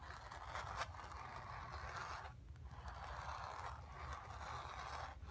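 Long nails scratch across a hollow, painted, stretched cotton canvas, moving over the painted sphere and the background. A steady, raspy scraping centered around 1 kHz carries on with a few brief pauses between strokes, over a low rumbling undertone.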